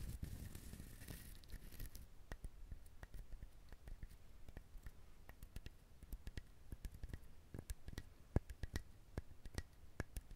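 Fingernails rapidly scratch the hard, fibrous shell of a whole brown husked coconut close to the microphone. A dense, rough scratching with bright hiss in the first two seconds gives way to a quiet, steady stream of crisp, dry clicks and scrapes over a low rumble.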